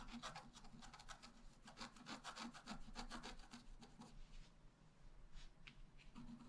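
A wooden stylus point is scratched across a flat A4-size scratch-art paper sheet, with a black coating over a rainbow layer, lying on a table while the other hand holds the sheet. Quick, irregular, bright scraping strokes come in dense bursts for about four seconds, then thin out into scattered strokes. A low background hum runs underneath throughout.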